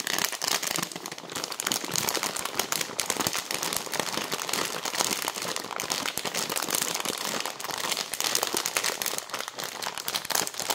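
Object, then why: Plastic bag of dry pasta. Long nails tap and scratch quickly across the front of a clear plastic bag full of dry fusilli pasta. The result is a continuous, bright crinkling and crackling with dense, fast clicks and almost no low end.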